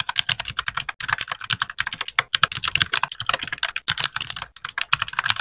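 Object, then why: Mechanical keyboard with plastic keycaps. Fingertips of both hands type steadily on a compact white RGB-backlit mechanical keyboard with plastic keycaps. The result is a fast run of short, bright, clicky key taps with almost no ring and very little low end, with brief pauses between bursts.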